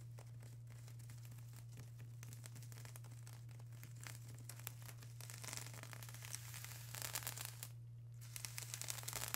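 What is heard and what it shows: Long acrylic nails scratch across a flat sheet of plastic bubble wrap, making quiet, crinkly, scratchy rustling over a steady low hum. The scratching grows denser and sharper toward the end, with brighter crackling bursts.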